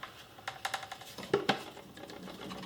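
A Pen Gear book safe, a plastic book-shaped shell holding a metal safe box, is shaken while fully closed. A series of light, short clicks and clacks is heard, with two sharper knocks near the middle. The safe still rattles even when closed all the way, and the source of the rattle is unknown.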